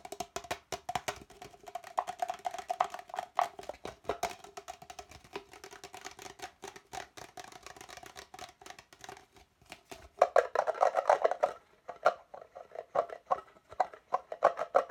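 An empty, hollow red plastic party cup is turned in the hands while fingertips tap rapidly on its sides. The result is a fast stream of dry, short, hollow clicks with a tone around 700 Hz. A denser, louder burst of taps comes near the end.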